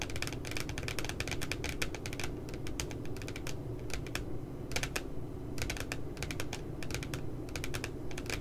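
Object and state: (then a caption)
Spiral notebook with glossy paper cover. Fingers and nails tap rapidly along the bottom edge of a spiral notebook with a glossy paper puppy cover. Quick bursts of crisp, bright clicks come in uneven runs with short pauses, over a steady low hum that runs throughout.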